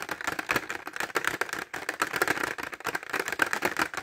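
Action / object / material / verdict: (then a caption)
tap / clear plastic pencil case with pencils / plastic / none. Short fingernails tap fast on a clear plastic pencil case filled with pencils, held horizontally. A dense stream of quick, dry, clicky taps sits around 1.5 kHz with bright edges and almost no low end. Each tap dies away almost instantly.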